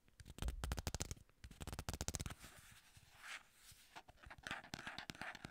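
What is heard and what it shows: Long nails and fingertips tap, scratch and grip the flat surfaces of a small, plain, hollow white paperboard box. Quick bursts of dull, hollow taps with a low thump come first, followed by softer scratching and rubbing with a brighter hiss. A few more light, sticky-sounding taps finish the clip.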